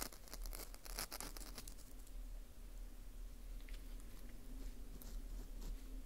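Metal tweezers pick and scrape at the crumbly inside of a dry, porous dried wheat gluten ring (fu) held in a gloved hand. Quick, bright crackling scratches come in a dense, quiet run that is thickest in the first two seconds, over a steady low hum.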